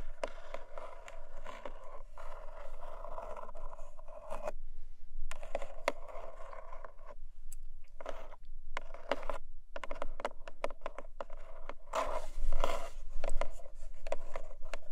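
Long nails tap and scratch the top of a closed, hollow, long narrow black cardboard gift box resting on a fluffy rug. Bursts of quick dry taps and scraping strokes carry a hollow midrange tone, separated by brief quiet pauses, with a louder flurry near the end.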